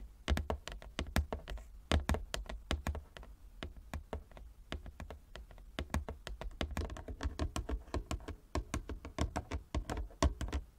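Long nails tap rapidly and unevenly across a large inlaid wooden chess board, making a dense run of short, dry clicks with a low, hollow thud beneath each one. The taps come in quick clusters with brief pauses and die away almost at once.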